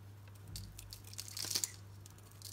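A solid green Dalan soap bar with a brown painted coating, held in the palm, is shaved with a utility knife blade so that the coating and curls of soap peel off. Quiet, crisp scraping and crackling strokes with a bright, high hiss build up to a few sharper peaks near the middle. A steady low hum runs underneath.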